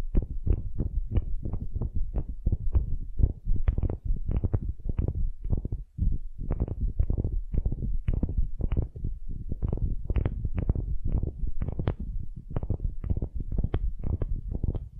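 Long nails scratch the end grain face of a solid, light wooden cube held in both hands. The result is a steady run of quick, dry scraping strokes that sound muffled and low, with only a brief pause around the six-second mark.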